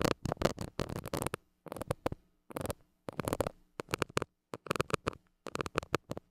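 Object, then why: Metal mesh microphone grille scratched with a plastic stick. A white plastic stick scratches the hollow metal mesh grille of a small gold mini microphone. Quick clusters of dry, broadband scratching bursts come in short runs separated by brief silences. A faint low hum sits underneath.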